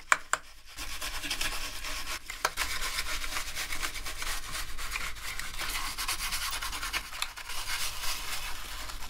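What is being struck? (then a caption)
Plastic keyboard keycaps scrubbed with brushes. Gloved hands scrub the keycaps of a black plastic gaming keyboard with two toothbrushes. A few sharp taps at the start give way to a steady, bright bristly scrubbing with small bursts throughout.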